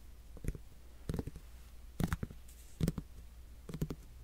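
Fingertips and nails tap and scratch the rind of a whole, solid netted melon. Five short clusters of soft, dull taps with faint scratchy clicks are heard, mostly low and thuddy with no ringing, against a quiet background.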